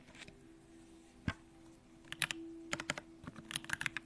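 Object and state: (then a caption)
Mechanical keyboard with aluminium case. Fingertips of both hands type on a compact Bakeneko65 mechanical keyboard with an aluminum case, Durock lavender switches and pink plastic keycaps. A faint, steady low hum runs underneath. A single sharp keystroke is followed by quick bursts of short, bright, clacky key presses that stop almost instantly.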